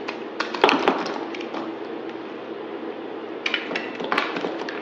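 A utility knife blade cuts and scrapes into a solid white bar of soap held in the hand. Crisp, crackling scraping runs throughout, with sharp, bright snaps clustering near the start and again toward the end. The texture stays dry and close, centered in the midrange with very little low end.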